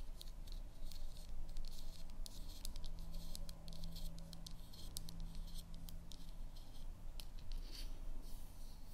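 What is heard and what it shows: Long manicured nails tap and scratch a small, hollow, round black plastic Focallure cosmetic compact held in both hands, and its clicking lid is opened and closed. Quiet, rapid, bright clicks and taps sound over a steady low hum.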